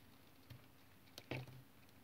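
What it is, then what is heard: Bar of soap being shaved. A utility knife shaves curls from the surface of a solid brown tar soap bar held in the hand. Against a quiet, low background hum come a few short cutting strokes, each a soft low thud with a brief bright scrape. The loudest stroke lands near the end and then drops back to near silence.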